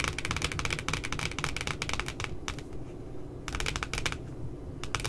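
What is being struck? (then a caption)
Laminated cardboard notebook cover. Long nails tap rapidly near the top edge of a glossy, laminated cardboard puppy notebook cover, making quick bright clicky ticks in dense bursts. The tapping pauses briefly midway, then resumes over a steady low rumble.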